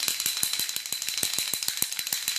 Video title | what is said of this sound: tuto make up palette addiction 4 par Karine Lafitte | Ça fait du bruit, il faut mélanger les matières, c'est normal.